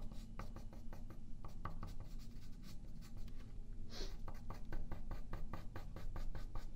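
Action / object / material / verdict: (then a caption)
scrape / graphite pencil on a thin paper sheet over a wooden table / paper / none. A yellow wooden graphite pencil scratches and draws lines on a single thin sheet of printer paper lying flat on a wooden table, held down by the left hand. Quick, dry, scratchy strokes repeat in a steady rhythm over a low background hum, with one longer, brighter stroke near the middle.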